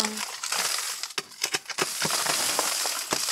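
A wooden-handled pick held in a gloved hand chops and knocks repeatedly into a solid rock salt mine wall streaked with white salt veins. Each blow lands as a sharp, bright crunch with a gritty, crumbling hiss over mostly high frequencies, with little low-end body and a short ring.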